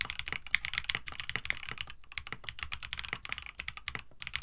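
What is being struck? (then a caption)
Plastic mechanical keyboard with PBT keycaps. A compact 65% KBD67 Lite mechanical keyboard with Gateron CJ switches, an FR4 plate, a white plastic case and blue and white PBT keycaps sits on a desk mat while both hands type continuously with their fingertips. It produces a rapid, steady stream of short, dry, bright clacks centered around 2 kHz, each dying out almost instantly, with a soft low thud beneath them.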